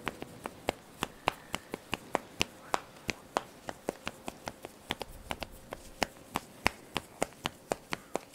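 Fingernails and fingertips quickly pluck and scratch the black elastic straps of a top. About 35 short, dry, bright snaps follow one another in a fast, uneven rhythm, each dying away almost instantly over a faint steady hum.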